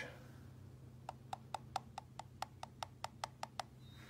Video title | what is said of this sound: How to check your eggs for cracks | do you hear that kind of hollow sound so that means one of them is cracked